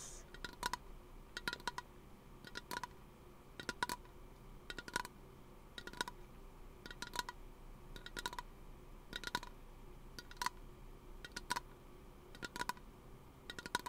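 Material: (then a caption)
Aluminum. Fingernails tap a small, hollow teal aluminum aerosol lotion can held beside the microphone. Quick clusters of light, clicky taps come about once a second, each with a brief metallic ping near 1 kHz that dies away almost instantly. The taps sit over a faint, steady background hiss.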